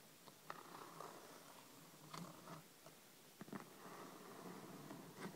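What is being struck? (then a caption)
Hardcover paper book. Long red nails lightly tap and scratch near the cover edges of a thick, solid hardcover paper book lying flat on a table. Quiet, sharp taps with a midrange click around 1.3 kHz cut through a soft, continuous scratching hiss. Each tap dies away almost at once.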